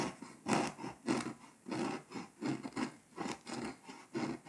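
A scraper tip scratches the foil coating off Hungary on a flat, foil-coated paper scratch-off map, leaving flakes. About eight uneven scraping strokes are heard as soft, gritty rasps with a bright edge, each rising and fading quickly in a quiet, close setting.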